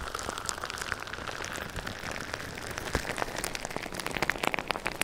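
Fingertips and nails rapidly tap and scratch clear plastic bubble wrap laid over the microphone. A steady, bright crinkling hiss fills the clip, with sharp, dry clicks that grow denser and louder toward the end, sounding much like rain pattering on a surface.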